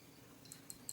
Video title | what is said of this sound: Cara membuka penutup Gotri pada regulator -- kamu harus tau | kalau kering kalau digoyang-goyang begini ini suaranya nyaring